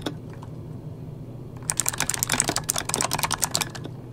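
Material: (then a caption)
Plastic. Fingertips of both hands type rapid key taps on a full-size backlit mechanical computer keyboard with plastic keycaps. After a quiet stretch of low background hum lasting about a second and a half, eleven sharp, bright, clicky taps come in an uneven burst with almost no ring after each.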